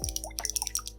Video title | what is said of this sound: Cute Nail Studio Haul - The Cutest Nail Studio Ever!!! | it has a little shaker ball y'all can probably hear that